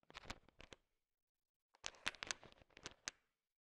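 A bowl heaped with small, hard, sugar-shelled peanut M&Ms is stirred and tapped with a thin wooden stick. Two bursts of bright, dry clicking and rattling are heard, with short sharp ticks and almost no ring, separated by a pause of about one second.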